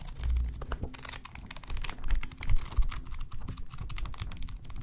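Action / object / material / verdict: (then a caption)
scrape / bound paper notebook / paper / none. A small bound paper notebook with a black cover and cream pages is held in both hands close to the microphones while fingers riffle and flip through the pages. A rapid, irregular patter of soft paper flicks and rubbing is heard, with a low rumble underneath and bright, crisp rustling on top.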